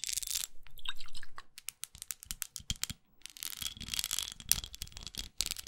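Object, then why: Small textured glass perfume bottle. Long acrylic nails scratch along the textured side and smooth label panel of a small red studded glass perfume bottle held upright in a hand. The result is bright, dry rasping and crackly scraping, broken by a quick run of sharp, irregular clicks and ticks before the scratching sweeps return.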